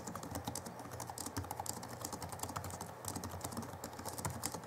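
Both hands type with their fingertips on the backlit chiclet keyboard of a 2011 Alienware M11x2 (M11x) laptop with plastic keys. Rapid, light, clicky key taps come in a steady dense stream with bright top edges and a low underlying rumble.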